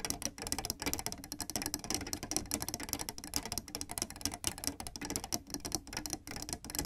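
Fingertips with red nails tap and press black and white plastic piano keyboard keys in a quick, uneven run of dry, typing-like clicks. The clicks are bright and short with almost no ring, over a faint low background.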